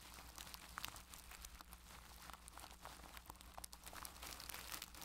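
A makeup brush rubs and presses on clear plastic cling wrap stretched over a microphone's mesh head. The result is dense, close crinkling with sharp, bright crackles over a steady low hum. The crackling keeps coming in quick bursts throughout.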